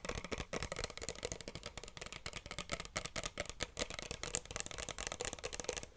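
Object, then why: Small plastic bottle with cap. Long nails tap and scratch quickly along the sides and cap of a small pink plastic bottle held close to the mic. The result is a dense run of dry, bright clicks and scratchy rustles with almost no ring after each tap.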